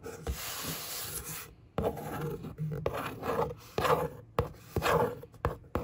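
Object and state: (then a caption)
Cardboard box scratched and rubbed. A long fingernail traces and scratches across the hollow top of a brown corrugated cardboard box, and an open hand rubs over the surface. A steady, dry rubbing hiss comes first, then a run of short, uneven scratchy strokes with a papery midrange rasp and a hollow, boxy body.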